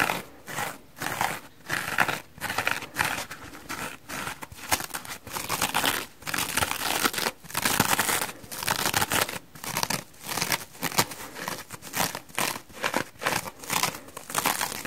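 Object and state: Dry foam sponge.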